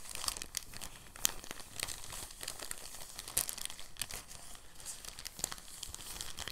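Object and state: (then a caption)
Crinkling soft plastic bag. A thin, clear, empty soft plastic bag is held and folded by the fingertips, crinkling steadily. The sound is a dense, bright crackle, with a few sharper, louder snaps standing out from the continuous rustle.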